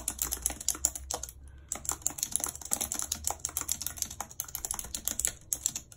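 Long red acrylic nails type rapidly on the hollow keys of a full-size white plastic computer keyboard with a numpad, lying on a world map. Quick, bright, clicky taps come in a dense stream, with a brief pause near the middle. Each tap is sharp and dies away almost instantly.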